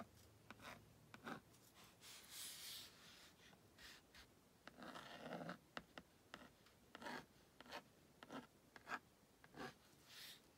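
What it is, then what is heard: Plastic magnetic drawing board being drawn on. A purple plastic stylus scratches across the honeycomb screen of a plastic Magna Doodle magnetic drawing board, drawing stick figures next to a house. Quiet, dry scratching strokes alternate with short, sharp ticks and clicks, with a few longer, brighter rubbing passes.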